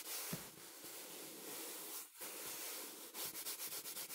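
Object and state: Fabric throw pillow being scratched.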